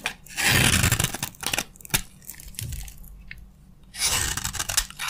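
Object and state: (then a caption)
Dry bar soap carved with a blade. A utility knife blade scrapes and carves crunchy curls from a green-yellow, solid, hand-sized bar of dry soap held in the palm. Bright, dry tearing and crunching strokes come in irregular bursts, with loud scraping passes near the start and end and a quieter, softer stretch in between.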